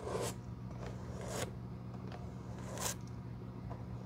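A bristle glue brush is rubbed across a black, worn leather shoe sole studded with small metal nails, held in the hand. Three bright, scratchy brushing strokes rise over a steady low hum, each fading quickly.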